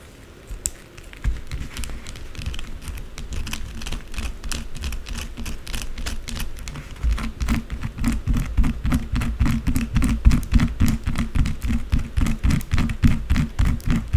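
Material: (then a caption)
Soap. Long blue acrylic nails scratch and tap rapidly across the top of a solid white rectangular bar of soap lying on a dark surface scattered with soap shavings. A fast, dense stream of short, dry clicks and scratches carries a soft low thump under each stroke. It grows louder and more forceful about halfway through.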